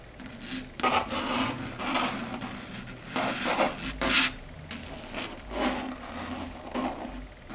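Long red stiletto nail tips tap and scratch across a flat, solid, dark grey chalkboard surface. Bright, raspy scraping strokes and light taps come in irregular bursts, each fading quickly with little ring.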